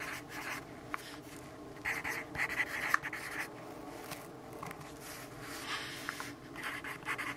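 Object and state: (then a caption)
Pencil writing on paper. A pencil tip scratches across the sheet of an open paper notebook resting on a wooden table as a hand writes lines of text. The quiet, dry scratching comes in short, irregular strokes with a bright, papery rasp centered near 1.8 kHz, some strokes standing out a little louder than the steady soft rubbing.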